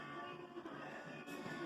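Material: Nothing is struck.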